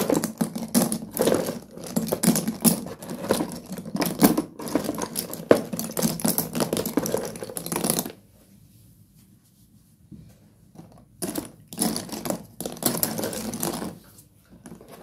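A hand rakes and rubs through a pile of solid broken slate pencil fragments in a cardboard box, making dense, bright clicking and crunching that runs steadily for about eight seconds. After a near-silent pause, shorter bursts of rattling and rubbing return.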